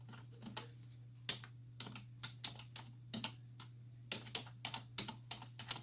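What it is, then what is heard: Plastic computer keyboard. Long nails and fingertips press the hollow keys of a black plastic computer keyboard on a wooden desk, typing in quick bursts of about two dozen sharp, bright clicks. Each tap is short and clacky, heard over a steady low hum.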